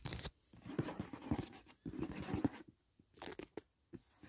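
A closed, hollow, rectangular white rigid cardboard gift box from a Dashing Diva nail set, lying on grey bedding, is tapped and scratched on its lid with fingertips and short nails. Quick, dull hollow taps mix with soft scratchy rustling in irregular bursts, with quiet pauses between them.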